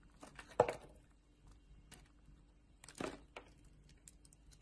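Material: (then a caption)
Soap. A metal utility knife blade cuts thin slices off a solid blue bar of soap held in a hand with long nails. Two louder crisp slicing scrapes stand out among softer clicks and light crinkly scratches, all dry and short with almost no ring, over a quiet background.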